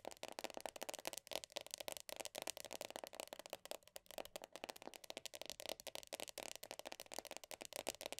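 Long dark-painted nails rapidly tap and scratch the printed top of the black lid on a medium round plastic The Body Shop body butter tub standing on a soft surface. About thirty quick, quiet, dry clicks blur into a steady scratchy patter, bright and hollow-sounding with a plasticky mid tone and almost no low end. Each tap dies away almost instantly.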